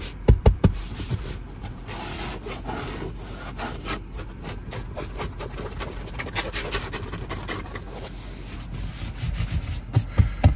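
Fingertips and nails rub and scratch quickly across a light grey woven fabric car seat with a stitched diamond pattern, padded and soft. A steady, low, dull scuffing fills the clip, with a few sharper thumps clustered near the start and end.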